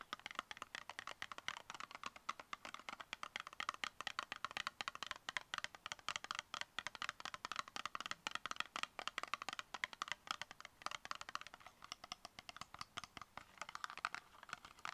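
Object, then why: Small cardboard box. Long nails tap rapidly on a small, tall, brown cardboard cosmetic box with a Drug Facts label, hollow and closed. The result is a fast, continuous stream of dry, crisp clicks with almost no ring, centered around 2 kHz, bright on top and with very little low end.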